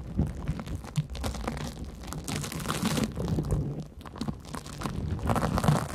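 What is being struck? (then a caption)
Cellulose sponge. A large porous yellow cellulose sponge is scratched and gripped with long nails above the microphones. Dense, irregular scratching and soft squelching crackles continue throughout, with most of the energy low and dull and little high brightness.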